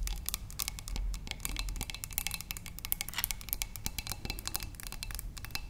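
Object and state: Glass vase.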